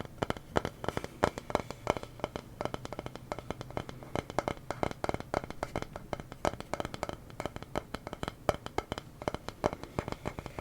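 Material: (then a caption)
Wood. Rapid, dense tapping on a small wooden sign reading "the silly honest kind" produces a steady stream of short, dry knocks with a hollow midrange tone around 600 Hz. Each tap dies out almost instantly, and the wood tapping comes across as a pleasant sound.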